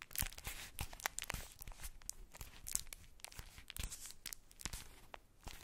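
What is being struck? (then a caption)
Ball wrapped in tissue paper. A ball wrapped in polka-dot tissue paper is cupped in the hands, crinkled and scratched with long nails. A dense run of quiet, bright crackling and short papery scratches follows, each rustle dying away almost at once.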